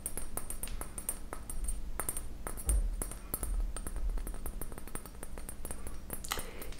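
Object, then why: Small glass beaker. A small glass beaker marked Pyrex is tapped with fingernails, producing a quick series of light, bright clicks with very short ring. The clicks continue over a steady low hum, and a brief hiss-like burst comes near the end.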